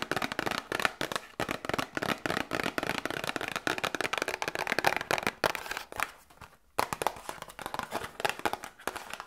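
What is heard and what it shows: A small cardboard medicine box is tapped quickly with long nails close to a binaural microphone. The taps are a dense, steady stream of short, dry, bright clicks with almost no low end and no ring, pausing briefly near the 6-second mark before picking up again.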